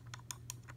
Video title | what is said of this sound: Holzfforma G372XP (Husqvarna clone) Chainsaw Review/Tear down/Tips/ETC. | You can hear that, hear the metal.